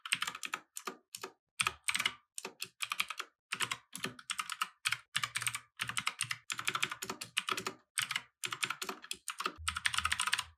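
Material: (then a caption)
Plastic. Fast, continuous fingertip typing on a compact mechanical keyboard with plastic keycaps resting on a wooden desk. Bursts of sharp, bright clacks come in quick runs separated by brief pauses, with a faint low thump under some strokes near the end.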